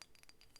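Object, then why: Selenite crystal. A selenite crystal is tapped four times, giving soft, quick glassy clinks. Each tap has a bright, high ring that dies away almost at once over a quiet, low background.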